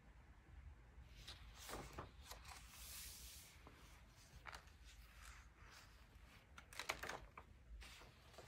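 Bare fingertips flip, turn and flex the aged, soft pages of a thin 1947 vintage paper magazine held open. Quiet, bright papery swishes and crinkles rise and fade over a low steady hum. A few sharper page flicks stand out near the end.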